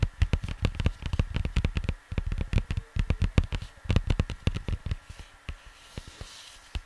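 Fingertips and nails tap and scratch the surface of a large, flat, printed cardboard LP record sleeve lying on a desk, likely with a record inside. The result is a rapid, irregular run of short, dull, low thuds with faint scratchy texture, and the tapping grows sparser and softer toward the end.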